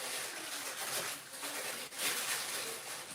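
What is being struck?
Nothing is struck.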